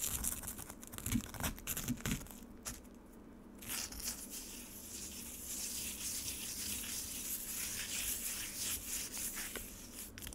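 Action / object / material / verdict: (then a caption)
scrape / frozen lemonade ice slab in a plastic tray / ice / none. Long nails dig into and scratch the crushed-ice surface of a solid frozen lemonade slab sitting in a black rectangular plastic tray. Sharp, crunchy scrapes come in bursts over the first couple of seconds, then a brief quiet pause. After that, a steady, bright, gritty scratching continues to the end.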